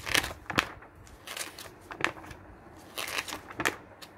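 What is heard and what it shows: Fingers flip and squeeze the thin glossy printed pages of an open, medium-thick magazine lying on a wooden table. Sharp, bright crinkles and crackles stand out over a soft, papery rustle, with little low end and no ring after each crunch.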